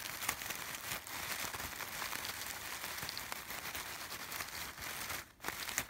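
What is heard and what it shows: Fingertips and short nails rub and scratch across the fabric petals of a bunch of artificial yellow sunflowers with textured brown centers. The result is a steady, bright, crinkling scratch with very little low end, briefly pausing near the end before resuming.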